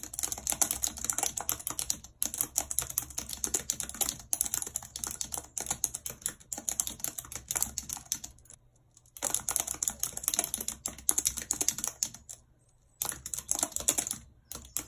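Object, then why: Plastic computer keyboard. Long red acrylic nails type rapidly on a full-size white plastic computer keyboard with a numpad and hollow keys, lying on a world map. The result is a dense stream of bright, sharp plastic clicks and taps with no ringing. There are short pauses at about 2, 8.5 and 12.5 seconds.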